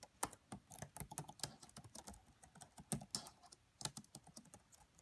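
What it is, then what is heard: Plastic laptop keyboard typing. Fingertips with medium-length nails type quietly on the black plastic keys of a red laptop keyboard. The result is a steady run of soft, short clicks and taps with bright clacks, each dying away almost at once.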